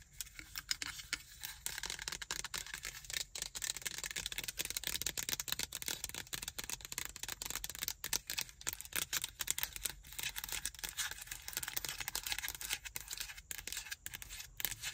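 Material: Plastic.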